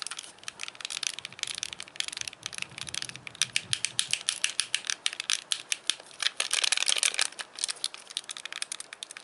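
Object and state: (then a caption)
Plastic game controller buttons clicked. Fingertips tap and click the small buttons and D-pad of a hand-sized, white, hollow plastic Wii Classic controller. Dozens of rapid, sharp, bright clicks come in irregular bursts, with almost no ring after each one. The result is a dense, dry, high-pitched clatter with no low end.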